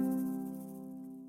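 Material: Nothing is struck.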